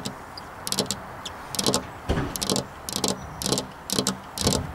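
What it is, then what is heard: Glass window pane tapped with fingernails. Long black-polished fingernails tap on a flat glass window pane near a metal rail. Bright, sharp clicks come in short irregular bursts, each fading almost at once over a low background hum.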